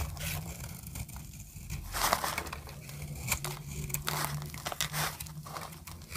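A solid orange dry soap bar, held in the palm, is carved with a metal blade into brittle shavings. Dry, crackling scrapes and crunchy cuts with bright edges rise over a steady low hum, with a few louder crunches standing out.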